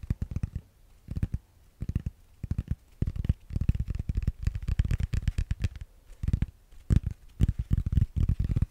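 A solid grey foam yoga block, held in the hands, is scratched and tapped with fingernails. The result is soft, muffled low thuds and dull scratching in quick clustered bursts, with almost no ring and no brightness.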